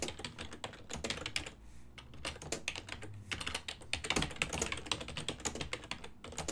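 Fingertips type rapidly throughout on a full-size black and silver ergonomic plastic desktop keyboard with keys set over a hollow body. The result is a fast, steady stream of short, bright plastic clicks and clacks that die away almost instantly, with a brief lull before the typing picks up again.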